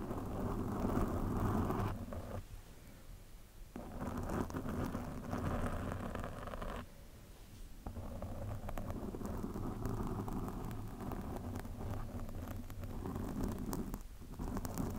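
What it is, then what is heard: Foam microphone windscreen being scratched. Long nails of both hands lightly scratch and rub a black foam windscreen on a microphone, producing a dense, muffled, rumbling scrape concentrated in the low end. The rough, continuous friction noise eases into quieter stretches around 2.5–3.7 seconds and 7–8 seconds before building back up.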